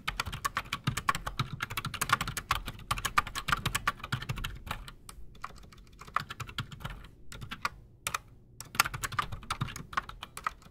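Both hands type fast with their fingertips on a solid, full-size black Redragon Shrapnel K589 mechanical keyboard with Outemu Silent Sky switches and Razer PBT plastic keycaps, resting on a desk. A dense stream of short, dull clacks with a bright edge is heard, with each keystroke dying away almost instantly. The typing thins out into a brief lull near the middle, then picks back up to a quick, steady patter.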